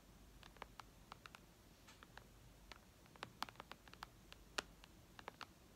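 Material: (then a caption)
Glass. Long red nails on both hands tap and lightly scratch the glass screen of a flat white iPad. About twenty quiet, sharp, dry clicks come at an uneven pace, each bright and stopping at once with no ring. A faint low hiss fills the gaps between them.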